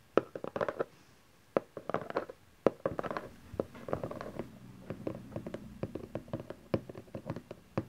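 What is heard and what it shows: Fingertips and nails tap the top face of a small, hollow cardboard camcorder box resting on satin fabric, and hands also tap its sides. The result is a quick run of short, dry, hollow taps centred around 535 Hz, some in rapid clusters and some spaced apart, each dying away almost instantly.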